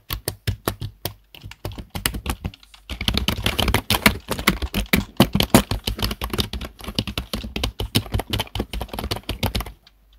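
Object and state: Plastic computer keyboard.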